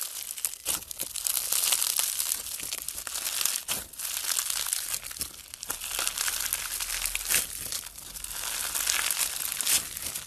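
Bare fingers squeeze, knead and fold a handful of soft, solid clear pastel slime packed with small round pink, blue and white plastic or foam beads. A dense, bright crackling and crinkling runs through the whole clip, swelling and easing with each squeeze and fold.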